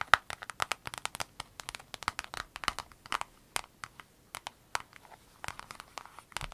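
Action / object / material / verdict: tap / clear vinyl zip pouch / vinyl / none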